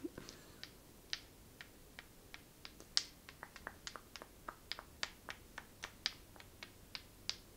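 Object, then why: Small smooth polished stone. Long nails tap repeatedly on a small, flat, solid, polished black stone held in the palm, producing sharp, bright clicks. Each click is short and dry with almost no ring, and the taps come in an uneven series against a quiet background.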